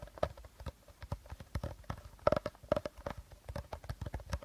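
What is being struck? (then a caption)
Plastic bottle with plastic cap. Short fingernails tap and scratch along an empty, hollow, hand-sized clear plastic bottle and its teal plastic cap. The result is a quick, irregular run of soft, dry clicks with a hollow tone around 600 Hz, mixed with faint scratching between them. Each tap dies away almost instantly.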